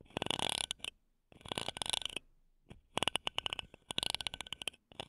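Two wooden toothpicks held between long nails scratch across the metal mesh top of a small silver condenser microphone. Bright, dry bursts of rapid scratchy ticks and rasps come in quick runs separated by short pauses, each tick cutting off almost instantly with little low end.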